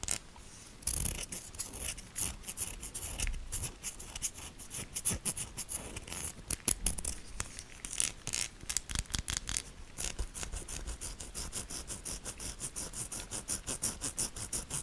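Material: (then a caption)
Soap. A solid pink soap bar, held edge-on, has its ribbed side scratched with long nails. The result is a steady run of quick, dry, bright scratching strokes, with a few louder scrapes in the middle and the strokes growing faster and more even toward the end.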